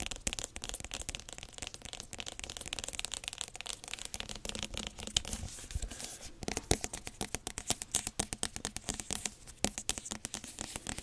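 Long nails tap and scratch the smooth, hard rind of a large whole yellow spaghetti squash held in both hands. The result is a quiet, bright stream of rapid dry clicks and scratchy rasps that grow sharper and more distinct toward the end.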